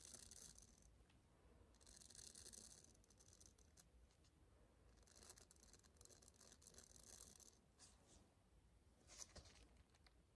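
A small flat pink silicone facial cleansing pad with bristle nubs is held in both hands and scratched and tapped with long dark-green nails. The result is quiet, dry, bright scratching and crackling that comes in bursts, with a few light taps over a soft low background.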